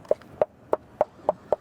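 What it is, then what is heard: Hollow-sounding foam-backed EIFS wall. Six evenly spaced bangs on the exterior EIFS synthetic stucco wall of an older commercial building, a barrier system with no drainage, each giving a short, dull, hollow knock centered around 600 Hz. The hollow sound comes from the foam insulation layer directly behind the finish coat, identifying the wall as EIFS, which is normal for this type of wall.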